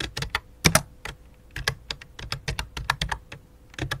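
Both hands type rapid key taps with fingertips and long dark nails on a full-size white and light-blue plastic computer keyboard resting on black cloth. Quick, dry clicks with bright tops and a soft low thump arrive in uneven bursts, with a few louder strikes standing out. Each tap dies away almost instantly.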